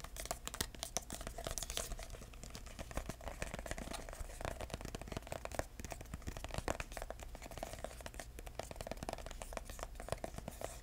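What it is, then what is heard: Paper-covered cardboard box. A small, hollow, red embossed decorative box made of red paper-covered cardboard with metal corner caps is held in the hands and tapped and scratched with short-nailed fingertips. The result is a steady stream of fast, dry, crinkly taps and scratches over a low, constant hum.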